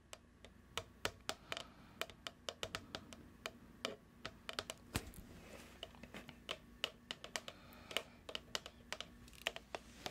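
Long nails tap on a medium plastic cookie dough tub with a printed label, making about 40 quick, bright, dry clicks at an uneven pace. Each tap dies away almost at once over a faint, steady low hum.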